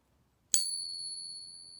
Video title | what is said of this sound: Coin Ping Test - Does it work? - Purity Limitation | it's much louder much more voluminous much better sounding better resonance